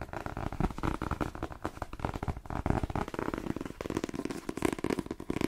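A paperback novel, "The Twins," with a glossy card cover and a solid paper block, is held up while fingertips tap rapidly on the cover and grip it. The result is a fast, continuous stream of dull, crackly taps that are mostly low and warm, with little brightness, and each tap dies away almost instantly.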